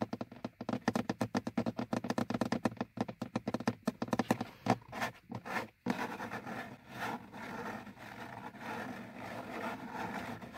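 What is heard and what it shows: Fingertips and nails of both hands tap and scratch the top edge of a car's hollow, molded plastic instrument cluster hood. For about the first six seconds there is a quick, uneven run of dry, hollow taps with a mid-pitched plastic knock. It then gives way to a steady, continuous scratching rasp.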